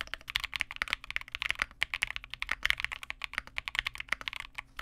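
A Vega65 custom 65% mechanical keyboard with re-lubed Cobalt switches, white plastic keycaps and a dark case is typed on continuously with the fingertips of both hands. A quick, steady stream of short, bright clacks centered around 2 kHz, each dying away almost instantly with very little low end.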